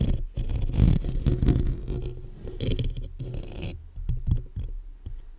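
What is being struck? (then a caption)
Metal mesh grille of a condenser microphone. Fingertips and short nails tap and scratch the black metal mesh grille of a large hollow condenser microphone. The result is a dense run of muffled, low, boomy thumps and rough scraping with almost no high end, and each knock dies away almost instantly.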